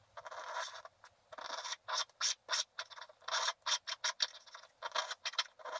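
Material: Coated paper.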